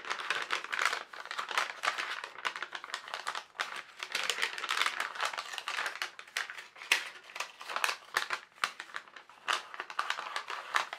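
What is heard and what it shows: A single translucent sheet of tracing paper is held in both hands and bent and crinkled by the fingers. The result is a dense stream of short, crisp crackles and rustling bursts that rise and fall in clusters. The sound is bright and papery, with almost no low end.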